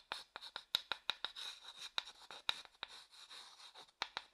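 A small, light-coloured, empty hollow wooden bowl is scraped and tapped inside with a wooden stick held in the fingers. About sixteen sharp, dry taps with a bright ring near 3.8 kHz are heard, separated by soft, hissy scraping. The sound is quiet and high with almost no low end, and each tap dies away almost instantly.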